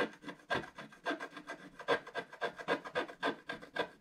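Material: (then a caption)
Waxed paper. A wooden stylus scratches a black wax-coated scratch art card lying flat and solid, working on the vase at the bottom of the drawing. About twenty short, quiet rasping strokes repeat at a steady, slightly uneven pace, with a dry mid-range scrape, bright edges and almost no low end.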